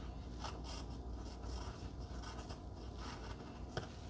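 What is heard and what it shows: A wooden pencil, held by fingers with long glittery red nails, scratches across a flat pink cardstock heart cutout lying on dark fabric as it writes. Soft, dry scratching comes in bright bursts over a steady low rumble, ending with one sharper tick near the end.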